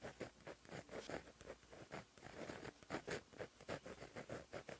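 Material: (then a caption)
Paper. A white Sakura Gelly Roll 0.8 gel pen, held in the fingers, writes with its fine plastic tip on a flat black lined paper page in a notebook. Continuous handwriting strokes scratch the paper surface in a quiet, rhythmic series of soft bursts.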